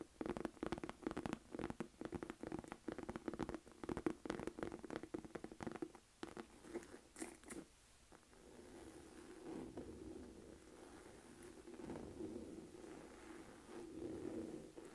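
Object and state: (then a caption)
Leather crossbody purse. A small, hollow black Michael Kors saffiano crossbody bag of textured leather, held in both hands, is tapped and scratched on the front with long nails, and the grip shifts toward the corner by the end. Quick, dry taps with a hollow low-mid tone fill the first half, then give way to softer, continuous scratching with faint bright edges.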